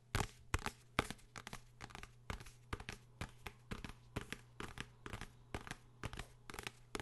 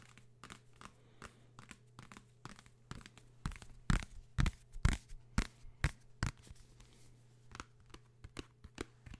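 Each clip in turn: First: Quick dry fingertip taps and light scratches on a hardcover book, each sound dying at once. Second: Quick dull fingertip taps on a paper book, dry clicks with no ring, louder in the middle.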